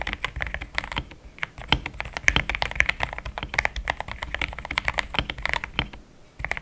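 Fast fingertip typing with both hands on a compact pink-white mechanical keyboard with thick plastic XDA keycaps, a polycarbonate plate and linear switches, resting on a desk mat. A dense, rapid stream of short, bright plastic clacks centers around 2 kHz with a soft low thump beneath each press. The typing briefly pauses near the end before resuming.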